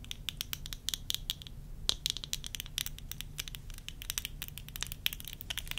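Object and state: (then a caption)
Plastic eyeglass frames. Long nails rapidly tap and scratch the front and temples of worn tortoiseshell plastic eyeglasses. A quick, uneven run of sharp, dry clicks carries a bright, glassy tick near 3.9 kHz. Each click dies instantly over a faint low rumble.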